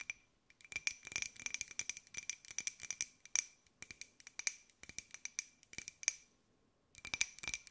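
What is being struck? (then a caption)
Small glazed ceramic jar. Long white nails tap a small, hollow, white glossy ceramic pineapple jar, held sideways and then upright. Rapid bursts of crisp, bright clicks carry a faint, steady high ring, with brief pauses between runs and a longer gap near the end before a final flurry.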